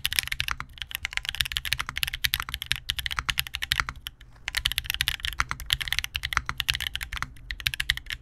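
An Angle80 by Vertex 80% custom mechanical keyboard with GUGU HolyPanda switches, a copper plate and black and beige plastic keycaps sits on a desk mat against a wrist rest while both hands type continuously. Dense, rapid, bright clacky keystrokes run throughout with a clear click near 2.3 kHz, pausing briefly around the four-second mark. Each key strike is short and dry, with almost no ring.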